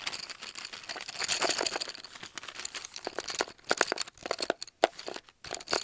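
Fingernails tap and scratch along a brown cardboard tube, held in the hand and filled with colored pencils at its open end, and at the tube's end. A rapid, dense run of dry, crinkly scratches and sharp, clicky taps, bright and thin with no low end, with brief quiet gaps between bursts in the second half.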